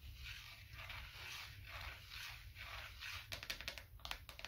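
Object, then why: Thin wooden coaster. A small, thin, light, solid wooden coaster disc is held edge-on in the hand and scratched with fingertips and nails, producing soft, rhythmic, hissy scratching strokes. Near the end, these give way to a quick run of sharp, dry, short taps. The whole clip is quiet and bright, with no ringing after each tap.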